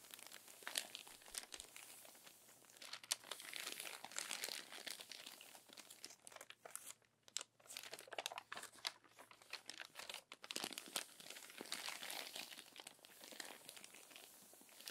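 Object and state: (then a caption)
Crumpled paper magazine pages. Fingertips and long nails smooth and rub the wrinkled glossy pages of a crumpled paper magazine, with a page turn. Dense, bright crinkling and crackling comes in soft, continuous waves, with a brief near-silent pause midway.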